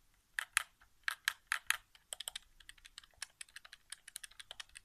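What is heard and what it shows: Fingertips tap the face buttons of a hollow white plastic PS4 game controller resting on carpet, producing about 25 short, dry, bright clicks. Six louder, spaced taps come first, then a quicker run of lighter clicks, each dying away almost instantly with no low-end thump.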